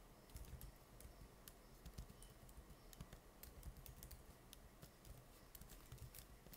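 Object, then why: Laptop plastic keyboard keys. Rapid fingertip typing on the plastic keys of an open laptop keyboard, with the hands staying on the keys throughout. Dense, quiet key taps click steadily over a low, soft background for the whole clip, each tap short and dry with bright clicks on top.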